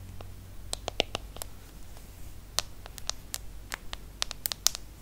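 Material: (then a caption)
Aluminum, glass. Long nails tap the aluminum back, the side frame and the glass screen of a small, solid aluminum-and-glass iPhone smartphone. The result is a quick, irregular series of crisp, bright clicks with almost no ring, over a faint low, steady hum.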